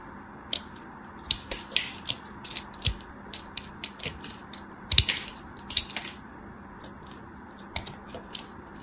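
A thin metal blade carves and scrapes small chips off a solid yellow soap bar held in a hand with long white nails. The result is an irregular series of crisp, bright crackling scrapes and short snaps, some in quick clusters, over a faint steady background hiss.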